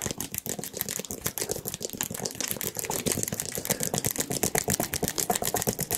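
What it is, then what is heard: Plastic squeeze bottle. A small, hollow yellow plastic squeeze bottle with a pointed nozzle cap is held in the hands and tapped and scratched with the fingertips and nails. The result is a rapid, uneven stream of dry, bright clicks and scratchy taps that stop short with no ring.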